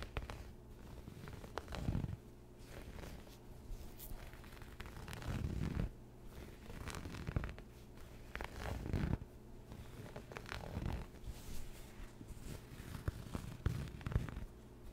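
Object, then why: Quilted cotton fabric pad. A grey quilted cotton fabric pad, possibly a pot holder, soft, flat and padded, is held beside the microphone without touching it and scratched with fingertips and short nails as the hand moves from the left side to the right. The result is a steady, low, muffled scratching rustle that swells into louder, fuller bursts every few seconds, with very little bright content.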